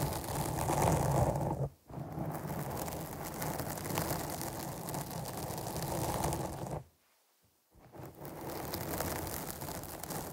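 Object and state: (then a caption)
Foam microphone windscreen being scratched. Long almond-shaped nails scratch a soft, porous black foam windscreen over the hollow cap of a large studio microphone, with both hands wrapped around it. The result is a dense, continuous, low rustling and crackling scrape. It breaks into brief silence just before 2 seconds and again around 7 to 8 seconds.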